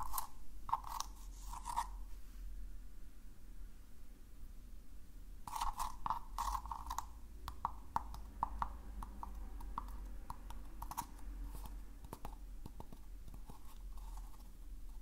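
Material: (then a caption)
Paper. Fingertips scratch and rub the rough outer surface of a small hollow recycled-paper cylinder held in the hands, producing crunchy paper sounds. Bursts of dry scratching sit over a steady low hum, with brief sharp ticks in between.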